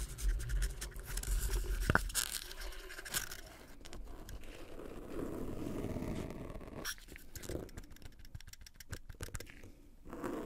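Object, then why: Small plastic party cup. A small, hollow red plastic party cup with white dots is held in both black-gloved hands and scratched and squeezed with the gloved fingertips. Rapid, uneven scraping and crinkling continues throughout at a soft level, mostly low and muffled, with a brief sharp click near the two-second mark and a few quieter lulls.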